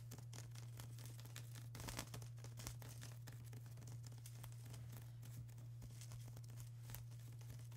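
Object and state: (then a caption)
Plastic bubble wrap. A flat sheet of plastic bubble wrap is scratched and tapped by long acrylic nails, giving a quiet, steady stream of crisp crinkling and scratchy taps. A constant low hum runs underneath throughout, with a few slightly louder taps standing out.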